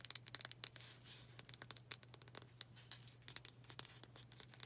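Long dark acrylic nails rapidly tap and scratch a palm-sized, dark brown oval wooden hair brush with black bristles and a solid wood back. The result is a quick, irregular run of sharp, bright clicks mixed with brief dry scratching. It plays quietly over a faint steady low hum.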